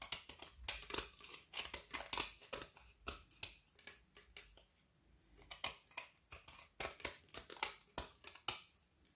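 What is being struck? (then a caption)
Frozen white chocolate bar with candy pieces. A solid segment of frozen white chocolate bar studded with colored candy dragees is held in the hand and repeatedly scraped and shaved with a small kitchen knife over a wooden board, piling up shavings. A rapid series of bright, crisp, dry scraping crunches follows, with almost no low end and a brief quieter lull midway before the shaving resumes.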